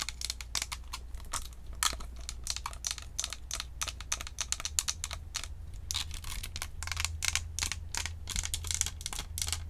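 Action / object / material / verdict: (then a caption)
tap / plastic USB microphone with metal mesh grille / plastic / none. Long acrylic nails tap rapidly on a Blue Snowball USB microphone, a round, hollow white plastic microphone with a metal mesh grille and badge. The result is a dense run of sharp, bright, clicky taps that stop almost instantly, over a steady low hum.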